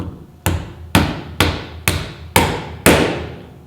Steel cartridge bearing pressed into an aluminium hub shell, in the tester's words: you may hear that there is a slight tone change when you're knocking it inside and that's when you know it's home